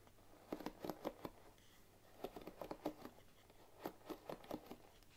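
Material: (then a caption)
Wood. Fingers and long nails run over and scratch the wooden pins of a bamboo paddle hairbrush, making a rapid patter. Three quick clusters of short, dry clicks come through in the low mids with a brief papery brightness above, each tick dying away almost at once, with quiet pauses between the bursts.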